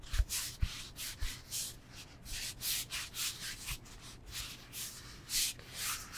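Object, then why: Foam yoga block. A solid rectangular foam yoga block, held in both hands, is rubbed and scratched with the fingertips. It makes a steady series of short, bright, dry scratching strokes with a few soft low thumps, mostly near the start. Each stroke stops quickly with no ring.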